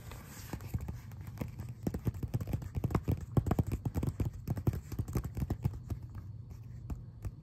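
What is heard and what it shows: Fingertips tap and scratch the surface of a thin, flat, flexible glossy paper brochure, a Christianbook flyer, held up in the air. Rapid, irregular, dull taps with very short decay mix with soft scratching over a low, steady hum.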